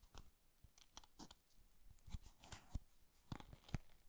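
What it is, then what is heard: Folded paper box. A small hollow folded Japanese paper box with a floral pattern is held in both hands while fingertips tap and rub its lid and sides and handle the folded top. The result is quiet, irregular soft taps with dull low thumps and brief, bright, crisp paper rustles and crinkles in between.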